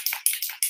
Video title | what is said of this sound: Let's Play with Some Courageous You Floral Stamps! (Live Replay) | shake this until i can hear that ball rattling